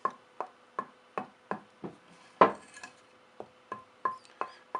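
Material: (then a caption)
Purpleheart wood. A second, denser purpleheart hardwood board with more sap is tapped for comparison with another piece, giving about a dozen short, dry knocks pitched around 1 kHz that die away almost instantly, with one louder tap midway. Faint high chirps sound near the end. Its tap tone is poorer than the other piece's.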